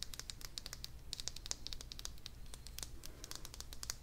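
A small purple hollow vinyl figure, held close, is tapped quickly with long dark nails. It makes a rapid, irregular run of short, bright, keyboard-like clicks that die away almost at once over a low, steady rumble.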